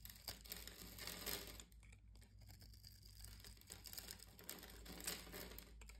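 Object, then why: Green bar soap scraped by a metal blade. A metal blade scores and scrapes a solid green bar of soap with round bumps, held in the hand, cutting it into crunchy curls. Dense, bright crackling and crinkly scraping comes in uneven bursts over a steady low hum, with a quieter stretch in the middle.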